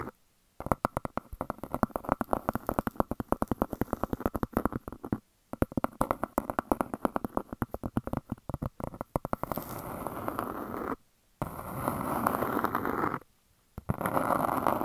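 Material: Stone.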